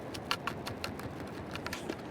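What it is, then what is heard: Metal target rattling in a sand scoop. A metal detector target dug up on the beach rattles inside a handheld sand scoop as the sand is shaken out. About ten short, bright clicks and rattles sound over a soft hiss of sifting sand, showing the scoop has caught the target.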